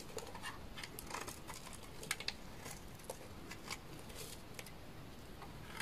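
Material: Soap.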